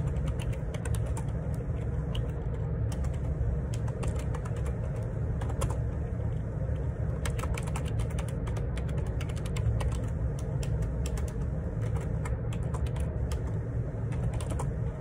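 Fingertips type on the plastic keycaps of a black Perixx Periboard 612 ergonomic split keyboard lying on a grey laminate desk. Its hollow plastic housing gives steady, dense clicking and tapping over a constant low rumble. The keystrokes run continuously throughout.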